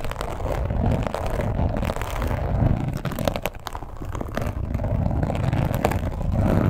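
Long pointed acrylic nails on both hands scratch quickly across a red croc-embossed leather wallet lying flat. The result is a dense, continuous, low rumbling scrape with scattered brief clicks, steady in level with a slight dip midway and very little bright content.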